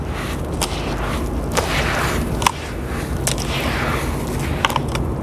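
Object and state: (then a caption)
Wet sand and dust mix. Bare hands dig into, squeeze, crumble and rub a heap of damp grey sand and dust against the floor of a large blue plastic basin, with some water at the edges. A steady gritty, crunchy rasp runs throughout, broken by about seven sharp, bright crackling snaps.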